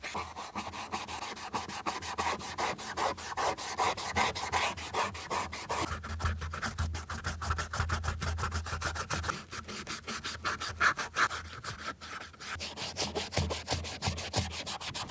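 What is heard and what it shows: A beige Chanel leather ballerina flat shoe, held in a gloved hand, has its heel counter and sides rubbed with a cotton ball held in metal forceps while it is cleaned and restored. Quick, steady back-and-forth strokes make a soft, dry, scratchy rubbing sound with brief, fast-fading bursts and a faint low hum beneath.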